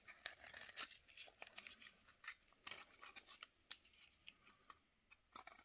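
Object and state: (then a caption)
Dry bar soap. A utility knife blade scrapes and shaves a solid rectangular bar of dry yellow soap held in a black glove. A quick series of short, crisp, bright scraping strokes with no low end, each ending dry with no ring.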